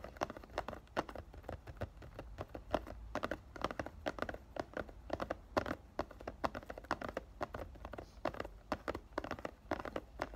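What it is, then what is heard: Cellophane-wrapped cardboard perfume box. Fingertips and short dark-painted nails tap rapidly on the sides and back of a rectangular cardboard "Thank U Next" perfume box, about 100 ml size. The hollow box, with the bottle inside and still sealed in clear cellophane, is held upright in both hands. The result is a steady run of quick, dry, muted taps that stop almost instantly, with a faint papery rustle.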